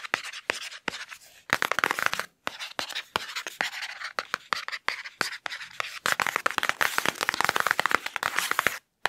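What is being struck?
Foam-padded hardcover book.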